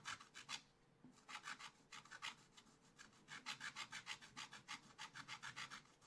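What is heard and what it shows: A wooden stylus scratches quick strokes across the basket area of a black-coated scratch art paper page in a small spiral pad lying flat. About two dozen short, bright, raspy scrapes come in bursts with brief pauses, leaving a dry, papery scratching with almost no low end.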